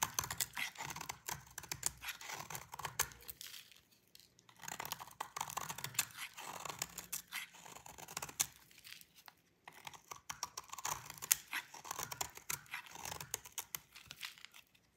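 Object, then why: Bar of soap. A snap-off utility knife blade scrapes a solid white bar of dry soap again and again, piling shavings up below. The result is dense bursts of crisp, bright, crackling scrapes with rapid tiny clicks and almost no low end, in three runs separated by brief pauses near 4 and 9.5 seconds.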